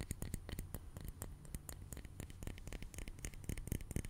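A small, round glass facial ice globe on a short handle, hollow and filled with blue liquid, is held in one hand close to the mic and tapped repeatedly with an index fingertip and nail. The quick, uneven taps each give a soft low thump with a bright, clicky tick on top, dying away almost instantly.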